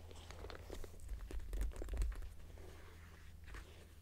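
Fingertips and nails rub, scratch and tap the front flap of a small floral-printed brown leather crossbody purse lying closed on a bed sheet. Soft, dry crinkling scratches and light taps come in an irregular stream, peaking in the middle and trailing off, over a steady low hum.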